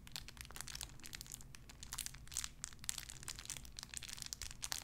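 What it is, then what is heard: Crinkled plastic wrapper. A small clear plastic bag wrapped around a tiny white figurine is crinkled and squeezed between fingertips with long red nails. The result is a steady stream of sharp, bright crackles and crinkles, with a faint low hum underneath throughout.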